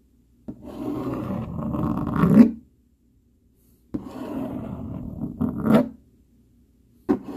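A dark plastic fork rubs and scratches across a flat brown cardboard sheet in long, dry rasping strokes. Two sustained strokes each swell to a sharper scrape at the end, separated by silence, and a third stroke begins as the clip ends. The grating sound is fairly low and muffled, with little brightness.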